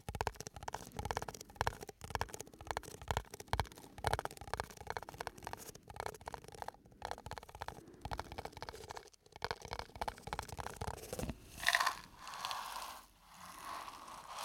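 A small, hollow, empty disposable paper cup with a green embossed textured sleeve is held close to the microphone and scratched and rubbed with fingertips and nails. For about eleven seconds it gives a dense, rapid run of dry, crackly scratches and taps. It then shifts to softer, breathy rubbing swells that fade in and out toward the end.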